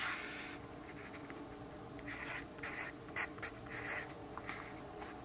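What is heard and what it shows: A yellow graphite pencil writes steadily across a lined paper notepad resting on a wooden desk and held by the left hand. Soft, dry scratching strokes come in short bursts with a bright rasp around 2 kHz over a faint low hum, staying quiet throughout.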